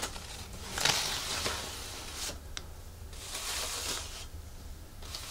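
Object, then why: Thin plastic artificial leaf. A large, flat artificial monstera leaf of thin plastic or fabric, held over a wooden table, is scratched and rubbed with long nails and fingertips while its edges are crinkled. The sound is a soft, bright, hissy rustle in swelling waves, with a few sharper crinkly scrapes and a low steady hum underneath.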